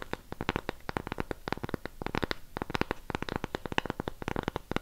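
Long pink acrylic nails tap and scratch the surface and raised rim of a round cork coaster. About thirty quick, dry, quiet clicks with no ring come in an uneven rapid run, with soft scratchy rustling between the taps.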